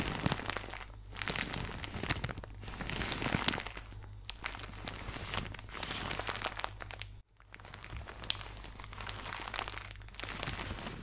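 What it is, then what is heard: Plastic shower cap being crinkled. A thin, soft, empty white plastic shower cap with blue polka dots is scrunched in both hands with fingertips and nails, giving a continuous dense crinkling and crackling. The sound is bright, over a steady low hum, and stops briefly about two-thirds of the way through before the crinkling resumes.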